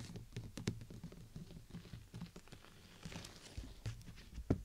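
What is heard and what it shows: Long nails tap the thin canopy of a transparent PVC bubble umbrella covering the mic, tapping near the top of the clear plastic dome. Quick, dull patters come in a loose, uneven rhythm, mostly low and thumpy with short bright clicks. A sharper, louder tap lands near the end.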